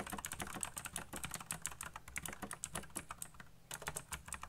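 Fingertips type fast on a colorful backlit mechanical keyboard with black plastic keycaps. A rapid, continuous stream of short, bright plastic clicks and clacks rides over a soft low thump, each keystroke dying away almost instantly.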